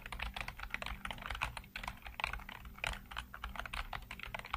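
Fingertips type rapidly across the hollow keycaps of a full-size black plastic computer keyboard. The result is a dense, continuous stream of bright, short clacks and taps that die away almost instantly, over a faint steady low hum.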